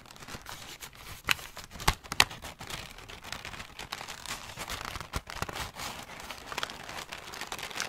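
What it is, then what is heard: Crumpled paper ball. A large, light grey sheet of paper, crumpled into a hollow ball, is held and squeezed in both hands with fingertips and short nails, crinkled and crumpled throughout. A steady, bright, dry crinkling runs the whole time, with a few sharper, louder crackles early on.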